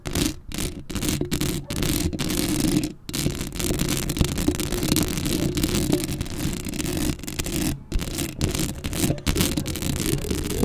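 Long acrylic nails scratch across a black metal mesh microphone grille up close. The result is a dense, continuous scraping and rasping with a strong low rumble and bright scratchy texture, broken by several brief silent gaps.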